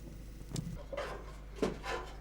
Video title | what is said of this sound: Olegaria, la MAESTRA ALFARERA. Recogida de tierra y cocción de piezas en horno de leña - Documental | Le son cristallin de la vaisselle indique que le travail est bien fait.